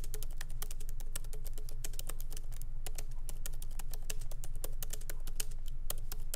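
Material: Plastic.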